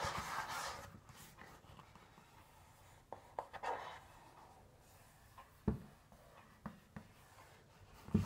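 Fingernails scratch and tap on the pink printed cardboard cover of a large notebook or folder, held flat against the chest. A soft, breathy scratching opens the clip, then quiet stretches are broken by about nine short, dull taps with a low thump and almost no ring.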